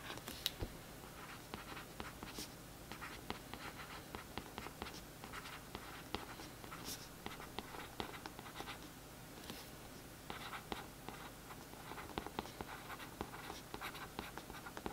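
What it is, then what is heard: Paperback book cover scratched with a brush tip. A paintbrush tip traces and scratches over the printed text lines on the back of a glossy cardboard paperback book cover lying flat. The result is a quiet, dry, continuous scratching with short, bright ticks and faint tapping accents scattered throughout.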